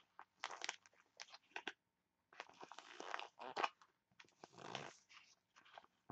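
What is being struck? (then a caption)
Foil sachet. A printed foil face mask sachet is crinkled and scratched with long nails. Quiet bursts of dry, bright crinkling and scratching come in short clusters separated by brief silences. Two longer, denser stretches of crinkling stand out, one of them building to a sharp peak.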